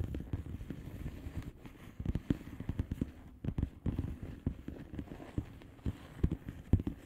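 Long nail tips tap the bubbles of a flat blue plastic bubble wrap envelope. The result is a steady run of quick, irregular, soft taps that sound dull, muffled and low, with little brightness. A few taps land sharper and louder than the rest.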